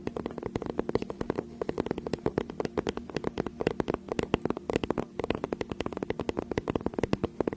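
Long acrylic nails tap and scratch the surface of a flat, teal, tablet-sized faux-leather tablet or notebook case held upright behind the microphone. A fast, steady stream of crisp, dry clicks with very short decay runs throughout, with a soft scratching texture and a slight tonal body around 400 Hz.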